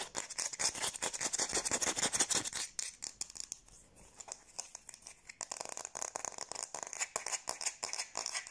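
Long blue-painted nails scratch and rub the back of the bowl of a light, solid wooden kitchen spoon held by its handle. The result is fast, bright, dry scratching strokes in quick succession. The sound eases into a quieter, sparser stretch midway before picking back up to a steady rhythm.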